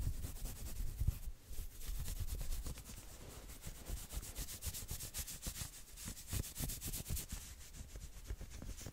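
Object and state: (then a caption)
Knit sweater being scratched. Fingernails scratch quickly across the shoulder and sleeves of a worn maroon knit V-neck sweater. Rapid, uneven rubbing strokes, about four per second, produce a bright, brushy hiss over soft low thumps. The scratching continues steadily throughout.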